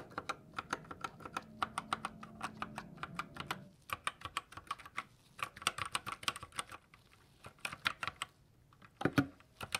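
Gloved fingertips press single keys on a white GK61 60% mechanical keyboard with silver switches and plastic keycaps, then type with both hands. The result is a run of short, bright, clicky taps with very little ring, with a brief pause before the typing resumes and ends on a heavier thock.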